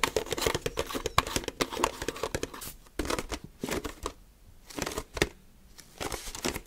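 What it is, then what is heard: Plastic milk jug. Fingers grip, squeeze and tap the body and green plastic screw cap of an empty translucent HDPE milk bottle. The result is a fast, irregular run of sharp plastic taps and crinkly squeezing clicks, with brief quieter pauses partway through.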